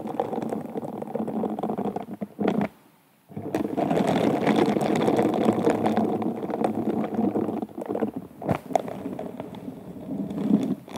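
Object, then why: Bead-covered glass wine glass. Gloved fingertips of pink silicone scrubber gloves scratch and rub an upside-down glass wine glass whose bowl is covered in sparkly rhinestone beads. A dense, crackly rustle of rapid scratching runs through most of the clip, pausing briefly before resuming.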